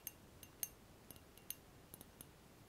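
Fingertips rub and scratch across the curved surface of a large, clear, empty round-bottom glass flask held in both hands. Nine brief, bright clicks and scratches stand out over a faint hiss, each dying away almost instantly.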